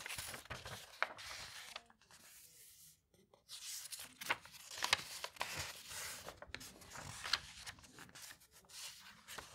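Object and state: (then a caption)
Old paper magazine pages. Fingertips with painted nails rub across and flatten an open page of a large, thick hardcover bound volume of the vintage illustrated magazine Le Patriote Illustré, then turn its aged paper pages by hand. Soft, dry, bright rustling and crinkling swells and fades, with sharper crisp snaps as pages turn and a brief near-silent pause around the third second.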